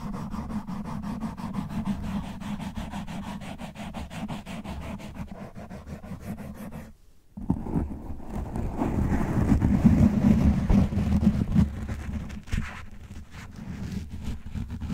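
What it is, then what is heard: Foam microphone windscreen, scratched. Fingernails of both hands scratch fast and hard across the top and sides of a soft, porous black foam windscreen covering a large black condenser microphone on a stand, over its hollow grille. A dense, rapid rasping of about three strokes per second rides on heavy low handling rumble, with almost no high end. It drops out briefly near the middle, then returns louder and rougher.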